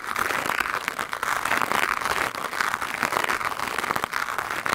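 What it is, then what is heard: Foam microphone windscreen being brushed. The bristles of a green plastic hand brush scrub fast across a black foam microphone windscreen. The result is a dense, continuous scratchy rustle centered around 1–2 kHz, with bright crackly edges and almost no low end. Quick scraping strokes blur into one steady texture.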